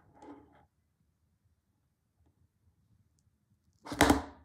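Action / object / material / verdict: scrape / small printed cardboard box / cardboard / none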